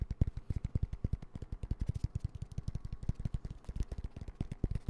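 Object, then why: Padded nylon fabric pencil pouch. A hand-sized, dark green padded nylon pencil pouch with yellow zipper trim, soft and hollow, is held in one hand and tapped and scratched with fingertips and nails. A rapid, steady stream of soft, dull, low thumps comes through, each dying away at once, with faint bright scratchy ticks above.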